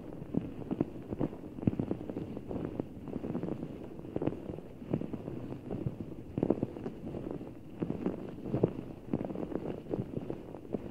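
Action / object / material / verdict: tap / large ball of water gel beads in a clear rubber skin / water gel / none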